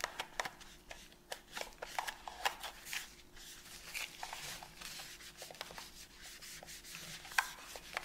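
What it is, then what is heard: Plastic game controller being rubbed. A gloved hand holds a white and black PS5 controller, a hollow, hand-sized piece of hard plastic, while gloved fingers rub a cotton pad over its front, thumbsticks and buttons. Soft, bright, scratchy swishes mix with quick small clicks and taps from the plastic, over a faint steady low hum.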